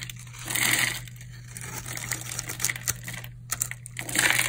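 A metal blade cuts small cubes into the surface of a solid white bar of hard, dried soap held in the hand and scrapes them off. The result is a run of crisp, crunchy, bright cuts and scrapes, with a steady low hum underneath.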